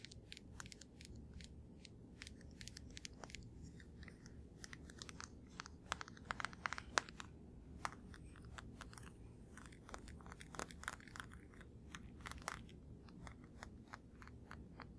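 A blue plastic deodorant stick held in both hands is tapped and scratched with fingertips and nails. Quick, dry, bright clicks and scratches come in a steady stream over a soft low rumble. Several louder taps stand out in the middle of the clip.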